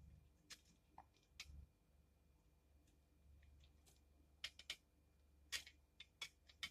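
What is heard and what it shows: A utility knife blade shaves curls from the flat face and corner of a solid pink soap bar held in the hand. About eleven short, bright, crisp scraping ticks come at irregular intervals over a quiet low background hum. Each cut ends almost instantly, with no ring.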